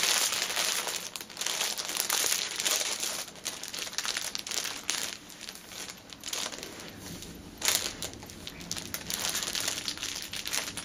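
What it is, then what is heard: Cellophane packaging crinkled. Fingertips and nails rub, press and crinkle a clear cellophane bag holding a flat orange fabric pouch, which lies on a cushion. The result is a steady, dense stream of bright, crackly plastic crinkling with almost no low end, swelling and easing in waves, with a sharper burst of crackles near the end.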